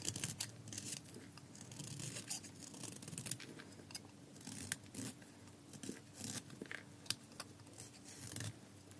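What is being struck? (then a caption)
Soap bar cut with a metal blade. A red-rimmed solid bar of dry soap, thinning as it is carved, is held in the hand and shaved with a metal utility blade in repeated scraping strokes. Quiet, dry, bright scraping and crisp shaving crackles come in short bursts over a faint low hum.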